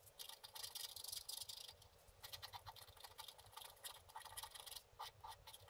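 A wooden scratch stylus scratches continuously across a book-page-size scratch-art paper card, a flat solid board with a black coating over a printed layer, resting on a table while the other hand holds it steady. The sound is a dense run of quick, bright, dry scratching strokes with brief pauses between bursts and almost no low end.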